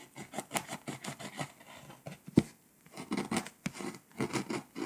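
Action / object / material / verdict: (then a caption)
scrape / foil-coated paper scratch-off map / foil-coated paper / none. A pink scraper scratches the foil coating off Poland on a flat, foil-coated paper scratch-off map. Quick, dry scratching strokes repeat in short bursts with brief pauses, with one sharper scrape standing out near the middle.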